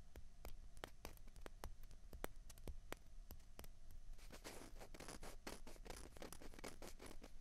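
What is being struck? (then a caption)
Plastic ping pong balls. Fingernails tap and scratch on a small, hollow, white plastic ping pong ball held in each hand. Sharp, bright clicks come at an uneven pace for the first four seconds, then give way to a denser, rustling scratching mixed with quick taps. The sound stays quiet and close throughout.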